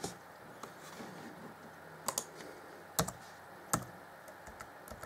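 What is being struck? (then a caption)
Plastic laptop keyboard keys. Fingertips type on the black plastic chiclet keys of an Acer Chromebook C20 (2014) laptop keyboard, producing soft, irregular clicking taps. A few sharper, brighter key strikes stand out over a quiet background hiss, each clicking short and dry with almost no ring.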